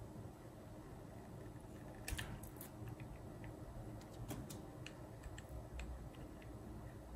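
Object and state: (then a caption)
Glycerin soap bar being carved. A metal utility knife blade shaves and carves a hand-sized, solid, translucent yellow glycerin soap bar, partly carved into a rabbit with googly eyes and white bead decoration and held in one hand with long white nails. Soft cutting and scraping come with repeated small, crisp clicks that carry into the high range, over a steady low background hum.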